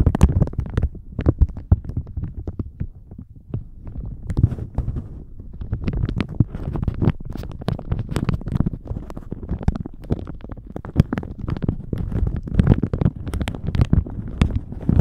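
A thin plastic shower cap stretched over a microphone is squeezed and crinkled with the fingers of both hands. It gives a dense, continuous stream of close crackles and muffled thumps, heavy in low rumble with sharp bright clicks scattered throughout.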